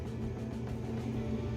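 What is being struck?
Nothing is struck.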